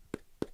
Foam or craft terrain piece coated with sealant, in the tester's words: it'll be nice and hard. You can hear that through my mic tapping it.